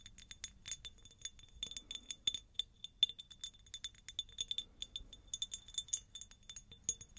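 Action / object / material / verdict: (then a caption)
tap / faceted cut glass jar / glass / none. A medium, hollow, empty faceted cut glass jar is tapped with long nails close to the mic. It gives a rapid, uneven series of many light, bright clinks with a ringing tone near 3.5 kHz. Each tap dies away almost instantly.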